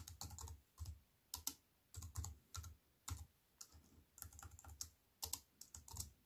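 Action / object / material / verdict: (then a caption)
tap / plastic keyboard keys / plastic / none. Fingertips and long white-painted nails tap on a compact wireless keyboard with black plastic keys and a grey metal-look frame, lying flat on a wooden table. Bursts of quick, light clicks come in uneven runs with brief pauses, each tap sharp and bright over a soft low thump. The clicks die away almost instantly.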